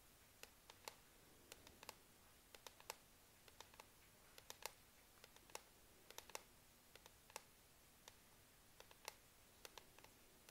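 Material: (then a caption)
Plastic. Long manicured nails and fingertips tap repeatedly on the black plastic palm rest beside the touchpad of a Lenovo IdeaPad laptop, a hollow casing. About thirty short, bright clicks and ticks come in an irregular rhythm, each dying away almost instantly over a faint, quiet background hiss.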